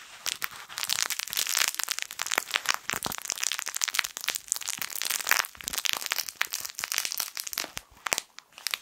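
A small yellow plush fabric crinkle toy shaped like a sun is held close to the mic and squeezed with the fingertips. It gives dense, bright crinkling and crackling made of many quick, dry bursts, with almost no low end. The crackles run steadily before thinning into sparser bursts near the end.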